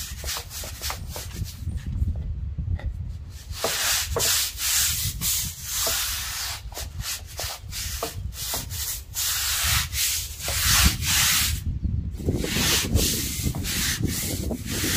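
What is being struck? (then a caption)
Concrete patio slab. A stiff-bristled deck brush on a long handle scrubs back and forth across a wet, soapy, solid outdoor concrete patio and step. Rhythmic, scratchy bristle strokes produce a bright, broadband hiss over a low rumble, with brief quieter pauses between bursts of scrubbing.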